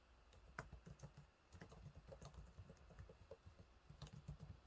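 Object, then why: Plastic laptop keyboard keys. Fingertips type on the low-profile plastic keys of a silver laptop keyboard, making a quick, quiet run of soft taps. Each press is a short, dull thud that dies away almost at once, with most of its weight low and only faint bright ticks on a few of the sharper strokes.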